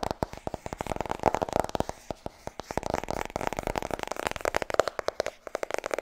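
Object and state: Paperback book tapped with fingernails.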